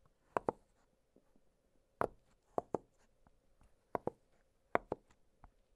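An octagonal blue silicone push-pop fidget toy has its bubbles popped with fingertips, giving short, dry popping clicks in quick pairs with a faint steady hum beneath. The pops are crisp and brief, with almost no ring after each one.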